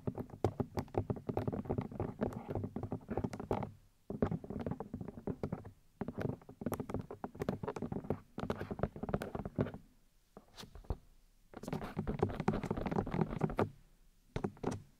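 Long nails tap rapidly on the white plastic ear housings of a 3Dio binaural microphone, striking the ear discs. Dense, dry, hollow clicks and thumps come in bursts of a few seconds, separated by brief pauses. Each tap dies away almost at once, with a low, thick body and occasional bright clicks on top.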